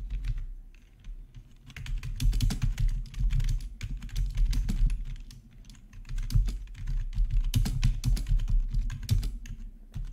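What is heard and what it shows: Fingertips of both hands type on a full-size black plastic membrane gaming keyboard with RGB backlighting and a hollow housing, resting on a marble surface. Rapid, dense keystrokes give soft, hollow-sounding taps with bright clicky edges over a low thump. The typing comes in bursts with brief quieter pauses.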